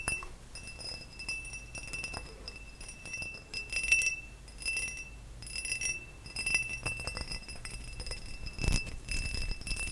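A tall, hollow, empty cut-crystal glass vase is held up close and tapped with fingertips and nails along its faceted sides. The result is a rapid, irregular run of bright glassy clinks and taps, with a steady ringing tone near 2.7 kHz over soft low rumble.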